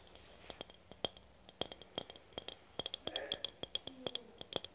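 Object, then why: Aluminium spray can. Long nails tap and click on a red aluminum spray can held horizontally. The result is a quiet, irregular series of sharp, bright metallic clicks with a faint ring near 3.2 kHz that dies away almost instantly.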